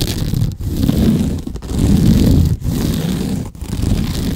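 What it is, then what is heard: Sisal rope scratching post being scratched. Fingernails scratch along the woven natural sisal or jute rope wrapped around a large cylindrical cat scratching post held in the arms. They make a dense, low, rasping scrape in five long strokes of about a second each, separated by brief dips.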